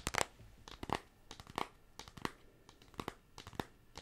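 Long pink acrylic nails tap and scratch the surface of a flat, closed pink cardboard eyeshadow palette with a black printed logo label, held in both hands close to the mic. The result is a quick, irregular series of dry, crisp clicks and papery scrapes with a bright edge that stop dead with no ring between soft scratching passes.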